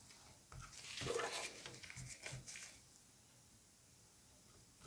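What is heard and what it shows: A scalpel scratches and scores the moist orange flesh of a butternut squash cut in half lengthwise, with its seed cavity showing. It makes soft, wet, bright scraping sounds that build and fade over about two seconds, then a near-silent pause ends in a faint final scrape.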